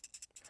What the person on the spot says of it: If I shake this next to the microphone, you can hear that there's a lot of play in the bearing wheels.